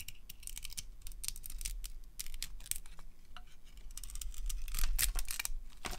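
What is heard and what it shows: A metal blade cuts through the shell of a dry, palm-sized, solid orange glitter-decorated soap bar with a pale inside and carves out chunks. Many short, dry, crisp scrapes and crackles flick out in bright bursts over a low, steady rumble. The cutting grows denser and louder toward the end.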